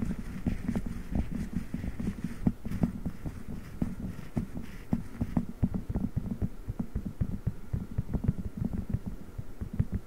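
A blue silicone spiked massage pad is bent over a microphone grille while the fingertips of both hands squeeze and rub it with slow, pulsing presses. The result is a dense run of dull, muffled thumps over a steady low throb near 190 Hz, sounding much like a heartbeat. Brief brighter clicks sit above, with almost nothing in the high range.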